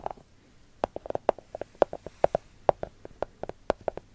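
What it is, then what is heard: Chocolate bar. Long gold fake nails tap the top of a solid, segmented milk chocolate bar resting on its wrapper. About twenty short, dry, hollow clicks in an uneven rhythm, each with a mid-pitched knock near 590 Hz and no ring. Between taps there is near silence.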